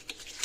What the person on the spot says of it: if you shake it and you can hear rice in there, which you can't